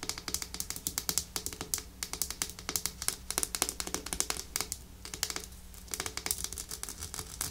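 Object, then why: Small glass nail polish bottle. Long nails tap and scratch on a small, full pink-red glass nail polish bottle with a white plastic cap. A rapid, uneven run of short, bright clicks and ticks dies away almost instantly, with a faint scratchy rasp between them over a low, steady hum.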